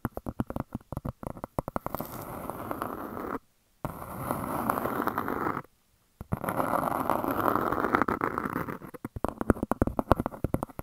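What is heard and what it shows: Long dark nails scratch and tap a large, flat, round grey speckled disc that looks like granite-look stone and is solid. Quick clicking taps open and close the clip, and two longer stretches of steady, rasping scratching fill the middle, separated by brief silences. The sound is dry and close, with a low, dull body and very little ring.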